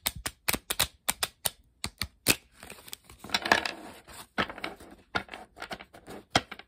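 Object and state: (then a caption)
Paper playing card deck. A blue-backed coated paper playing card deck, held close up in both hands with long pink nails, is riffled, squared, and its edges tapped and handled by fingers and nails. A quick series of sharp, bright clicks and taps surrounds a denser fluttering riffle in the middle, with each sound dying away almost instantly.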